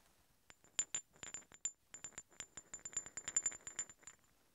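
Two large solid steel threaded hex bolts, held one in each hand, are clinked and rubbed together in a quick, uneven run of about twenty short, bright metallic clicks and scrapes. Each contact gives a thin, high ringing tone that dies away almost at once, with nearly no low-end body.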